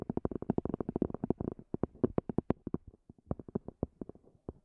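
Long fingernails tap on the top of a small black zippered EVA hard-shell earphone case, a hollow semi-rigid shell with a fabric cover. About thirty quick, dry, hollow taps sound, packed close together at first and then spaced out, each stopping short with no ring and sitting in a soft low-to-mid register.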